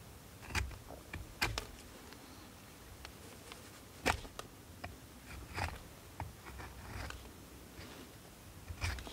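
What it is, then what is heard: Bar of soap being carved. A steel knife blade carves and scrapes a solid blue bar of soap held in the hand. Short, crisp cutting and scraping strokes come at irregular intervals, each a brief bright crackle that dies away almost at once over a faint low rumble. Quiet gaps separate the strokes.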